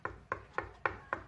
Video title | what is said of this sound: How to fit curtain and pole | that's what concrete sounds like so then you'd need a masonry drill